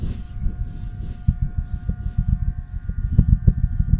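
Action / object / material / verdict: scrape / cloth-covered microphone head / fabric / none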